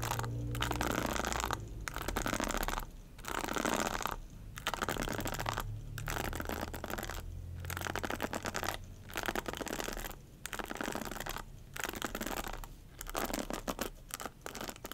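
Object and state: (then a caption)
Plastic hairbrush bristles scratched. Long white-tipped nails scratch and strum the dense bristle head of a black hairbrush with a plastic handle, held in the other hand. Dense, crackly scratching comes in bursts broken by brief quiet gaps, with bright bristle ticks over a soft low rumble.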